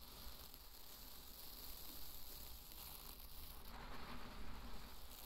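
Two handfuls of dry pearl barley are scooped up and poured back onto a bed of the grain. The result is a quiet, continuous granular hiss and patter of falling grains over a steady low rumble, swelling slightly toward the end.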